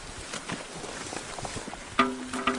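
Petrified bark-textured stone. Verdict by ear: Hollow.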